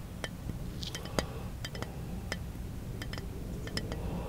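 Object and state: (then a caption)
Glass bottle tapped. Fingertips tap the side of a small, hollow brown glass bottle held in one hand. Short, bright clinks ring briefly at irregular intervals over a steady low hum.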